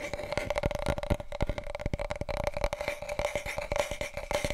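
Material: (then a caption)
Cardboard. Fingertips tap quickly on a wide, hollow, empty large cardboard paper roll tube held diagonally. The taps land as a dense run of short, resonant, hollow thumps with a low, body-heavy tone and a steady mid-pitched ring underneath. Each hit dies away almost at once.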